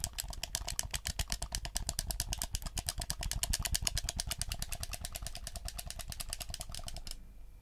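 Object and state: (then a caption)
Plastic game controller. A black PS4 hollow plastic gamepad is held in both hands while the thumbs rapidly click its buttons and sticks. A fast, steady stream of short, bright plastic clicks with no ring sits over a low rumble, and the clicking stops abruptly just after seven seconds, leaving only faint background.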